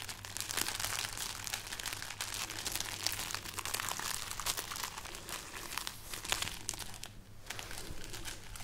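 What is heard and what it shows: A long string of dried, hollow red chili peppers is held aloft and crinkled with the fingers of the other hand. The result is a continuous, dense stream of dry, bright crackles and crunches with a faint steady low hum underneath.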